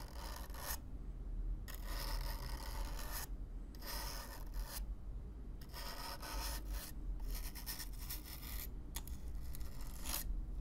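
A stiff black-bristle brush is swept back and forth across the surface of a hollow brown corrugated cardboard box, close up. Repeated dry, raspy scratching strokes come in bursts of bright hiss over a steady low rumble, with brief quieter gaps between strokes.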